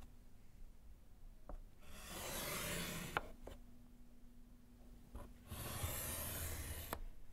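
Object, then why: Wood-framed slate chalkboard and chalk. A gloved hand scratches lines with yellow chalk across a small solid slate board in a wooden frame. Two long, bright, gritty scraping strokes are heard, separated by a quieter pause, with a few short sharp taps around them. The scratching is loud and rasping, dropping to a low hiss between strokes.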